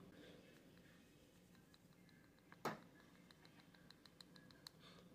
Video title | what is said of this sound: How to test and clean a PCV valve | you hear the clicking now but it's not as loud as that one